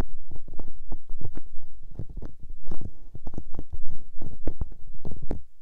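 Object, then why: Silicone microphone ear. Hands with long painted nails cup, rub and press the soft, hollow white silicone ears of a 3Dio binaural microphone with their fingertips and palms. The result is a steady stream of deep, muffled rumbling thuds and brushing swells, heavy in the low end with only faint brief bright edges.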